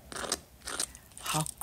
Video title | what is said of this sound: Mango Cheese Puff Pastries - Delicious and Irresistible! | listen how crispy how crispy they are